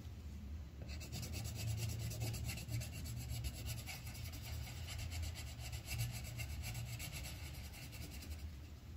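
The tip of a yellow wooden colored pencil rubs back and forth across a thin white paper sheet on a clipboard, filling in a petal. Quick, steady scratchy strokes with a bright, papery rasp start about a second in and continue until near the end, over a constant low hum.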